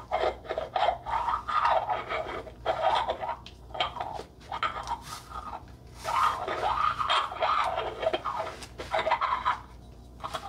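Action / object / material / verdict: scrape / ribbed glass candle jar filled with wax / glass / none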